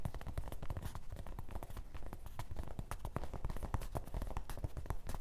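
Fingertips of both hands tap quickly on the front fabric panel of a grey canvas fanny pack lying on a table. The result is a rapid, continuous patter of soft, muffled low thuds, each one short and dull.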